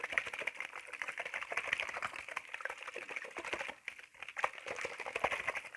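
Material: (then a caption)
Plastic. A clear plastic spray bottle with a black trigger head, hollow and partly filled with water, is held in one hand and shaken. Rapid, dense, bright clicking and rattling mixes with light water sloshing, with little low end. The sound briefly drops away near the four-second mark before the shaking picks up again.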